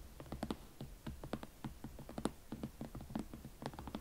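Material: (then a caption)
Leather. Long nails tap and scratch a single hollow, empty hot pink leather Valentino Club Platform Chelsea ankle boot held in both hands, working over the leather shaft and the elastic side panel. The result is a steady run of quiet, dry, short clicks and soft scratches with a muted low-mid body and almost no ring.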